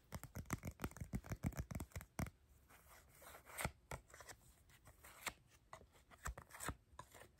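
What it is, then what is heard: Paper playing card deck. A deck of coated paper playing cards is held in the hands while fingertips riffle, tap and scrape the card edges. A quick burst of dry, crisp clicks gives way to a quieter stretch of soft scraping. Scattered sharp taps then follow.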